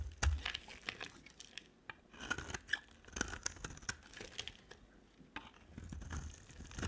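A utility-knife blade carves along the edge of a solid green-and-white striped bar of dry soap, making a run of short, dry scraping and crinkly tearing shaves. The bursts are quick and crisp with bright edges, over a soft low thumping as the blade moves through the bar.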